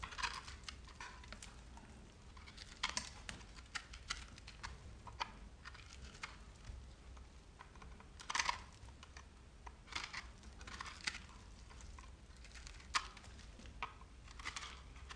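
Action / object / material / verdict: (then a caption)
scrape / bar of soap cut with a metal knife / soap / none. A metal knife blade slices and scrapes a handheld bar of dry, crumbly, speckled green-pink soap. It makes quiet, rapid, bright crackles and short scratchy scrapes that stop dead with no ring. A steady low hum runs underneath.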